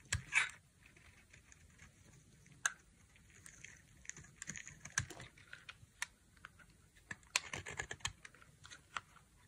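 A dry, solid white bar of soap is held in one hand and cut into strips and flakes with a utility knife blade. Quiet, crisp scraping and sharp clicking cuts come in irregular bursts, bright and dry with almost no ring, over a faint low background hiss.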